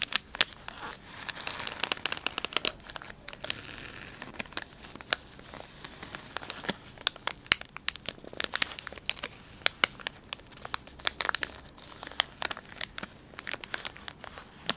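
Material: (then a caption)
Plastic film. Fingertips and thumbs press, crinkle and rub the soft plastic film of a filled, palm-sized Dettol wet wipes pouch. Dense, bright crinkling and crackling comes in quick clusters of sharp snaps with almost no low end. Each snap stops dead, leaving a busy, dry rustle throughout.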